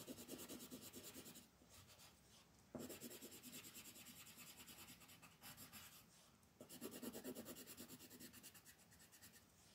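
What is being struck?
Paper coloring book page scraped by a wooden pencil tip.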